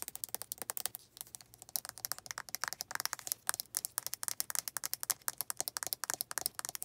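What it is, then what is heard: Plastic lotion bottle. Long red nails tap the flip cap and scratch the body of a white plastic lotion bottle. The result is a quick, steady run of dozens of dry, bright clicks and scratchy rasps, each dying away almost instantly, with very little low end.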